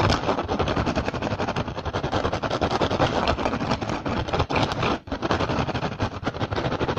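Fingertips and short nails scratch and tap quickly across the weave of an upturned, hollow, empty woven rattan basket. The result is a dense, continuous stream of dry crackling scrapes and fast taps, steady in level apart from a brief dip near the five-second mark.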